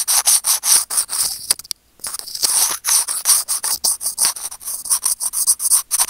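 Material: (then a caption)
Plastic. Curved steel tweezers rub and scratch a small hollow white plastic earphone mic remote. The result is a rapid series of bright, dry scratching strokes with almost no low end, broken by a short pause near the two-second mark.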